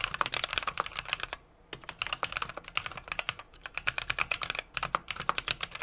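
A small 60% mechanical keyboard with an aluminum case, brass plate and plastic keycaps is typed on rapidly with the fingertips of both hands. Quick, bright clacking key taps come in bursts, each dying away almost instantly, with brief pauses between runs.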